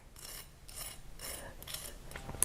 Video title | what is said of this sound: Save Money Make McDonald's AT HOME - Big Mac, Fries, Hash Browns | listen to how crispy these are